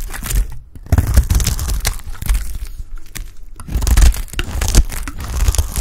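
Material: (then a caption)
Soap. A solid, dry, yellow rectangular bar of Lifebuoy soap is held in the hand and shaved into chunks with a utility blade. Repeated dry scraping and crunching strokes come in bursts, with brief quiet pauses between runs of cutting.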